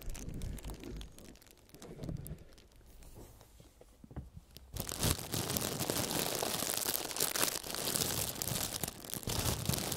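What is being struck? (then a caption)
Thin clear plastic film. A large, crumpled sheet of clear plastic film is held up close, then pressed flat and rubbed with the fingertips of both gloved hands to make it crinkle. The first half is quieter, with soft rustles and low handling thumps. Just before the midpoint it bursts into loud, dense, bright crinkling that continues to the end.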